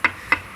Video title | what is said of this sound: Time for me to get busy repairing the painting this concrete porch. | that's a hollow spot that's likely going to crack one day and break open